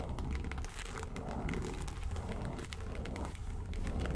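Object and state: Faux leather case being scratched.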